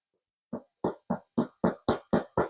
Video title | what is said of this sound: “Why 60% Hydration Makes Better Sourdough for Beginners” | Sounds hollow inside. This is how it's supposed to sound.